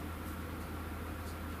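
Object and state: Nothing is struck.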